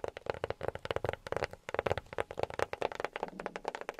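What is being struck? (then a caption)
Box tapped with silicone rubber fingertip pads. A box is tapped rapidly with silicone rubber pads worn on the fingertips. Around twenty soft, dull taps come in quick, uneven bursts, each with a muted tone near 535 Hz that dies away almost instantly.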